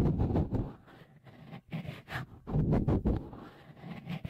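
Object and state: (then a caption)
Textured silicone microphone cover. Fingertips rub and tap a small, hollow, white, dimpled textured cover, likely silicone, fitted over the left microphone capsule of a Tascam Portacapture X8. The result is a series of close, muffled, low-pitched thumps and soft scraping swells, with quieter rubbing between the louder bursts.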